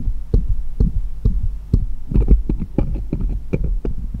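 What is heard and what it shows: Fingers hold one of a pile of small solid steel jeweller's screwdrivers and tap it against the others. The result is a quick run of short, dull, low-heavy taps with faint bright ticks and little ring, over a steady low hum.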